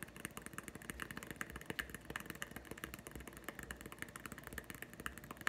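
A small, hollow, green plastic Nite-Glo putty egg is held in one hand while the fingertips and nails of the other hand tap it very rapidly. The result is a dense stream of short, dry, clicky taps with a hollow plastic ring around 1.8 kHz and no lingering resonance.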